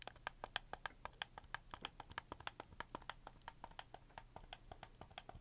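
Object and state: Plastic game controller buttons.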